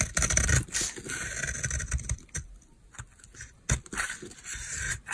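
A utility knife blade scrapes a solid, palm-sized oval bar of dry white soap held in the hand. Rough, uneven scraping strokes come in quick, irregular bursts, each mixing a low crumbly rumble with a bright, hissy edge, then fall into short quiet gaps. A sharper scrape near the end precedes a few more softer strokes.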